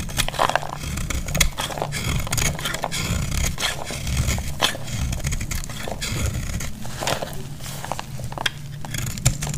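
A metal utility blade scrapes and cuts a solid, hand-sized, pale yellow bar of dry soap into crumbly shavings. The clip is a steady run of dry, crackly scraping strokes with bright, gritty edges over a constant low rumble.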